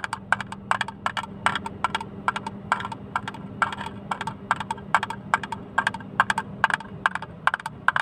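A small, hollow, empty blue plastic hinged box with its lid open is tapped with fingernails close to the microphone. Quick clusters of sharp, dry clicks sound through the clip, each dying away almost at once, with a bright hollow tone around 1.5 kHz. A faint steady hum sits underneath.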